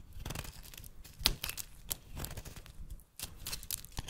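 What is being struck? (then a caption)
Bar of soap. A metal blade cuts crumbly chunks off a rancid solid yellow soap bar held in the hand and shaves its surface. Dry, bright scraping and tearing crunches come in uneven bursts over a low rumble, with one sharp louder cut near the middle and quick, dead-short decays.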